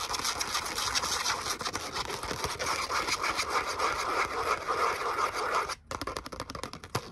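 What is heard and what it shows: Long nails scratch and tap the glittery surface of a thin, solid, flat gold glitter cardstock letter "O" cutout held up in both hands. A dense, bright, scratchy rasp with rapid crackling ticks runs steadily, then briefly cuts out near the end before resuming as sparser, sharper taps and scratches.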